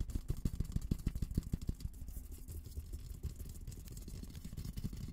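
Fingertips and short nails tap and scratch the dome of a hollow, olive-green painted steel military helmet. Quick, fairly regular dull taps with a deep, hollow low thump come first, then settle into a softer, continuous rubbing scratch with scattered lighter taps. The sound stays low and muffled, with almost no bright ring after each touch.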